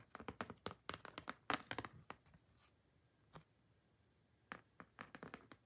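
Long painted fingernails tap and scratch across the surface of a large, glossy printed cardboard photo card resting on an album. A quick, uneven run of sharp, dry clicks with bright scratchy edges fills the first two seconds, then fades to near silence broken by a single soft tap. A final cluster of crisp taps follows near the end.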